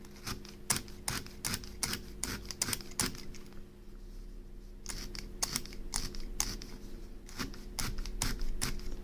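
A felting needle is stabbed repeatedly into a hard, firmly felted part of a needle-felted wool piece, making crisp, scratchy ticks that sound different from stabbing the loose part. The stabs come in quick, uneven bursts with a short lull midway, over a steady low hum. The needle meets firmer resistance as the wool tightens.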